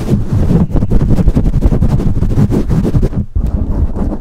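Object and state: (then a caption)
Foam microphone windscreen being scratched. Long manicured nails of both hands scratch and tap a soft, hollow black foam windscreen over a large USB condenser microphone. The result is a dense, muffled stream of low thumps and rustling scratches, heavy in the bass with almost no bright content, pausing briefly near the three-second mark before continuing.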